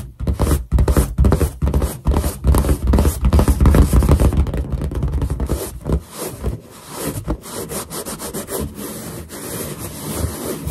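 Finger pads rub quickly over a large, hollow, inflated white latex balloon, making squeaky friction sounds. Rapid, uneven rubbing strokes come with a deep, boomy low-end resonance from the balloon, growing softer and thinner in the second half.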